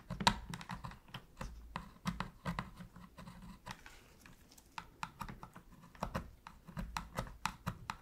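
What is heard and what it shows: A thin metal pick scratches around the face buttons of a black, hollow plastic PS3 controller held in gloved hands during cleaning. The result is a quiet run of short, dry clicks and scrapes with a low hollow plastic body. Brief bright ticks die away almost instantly.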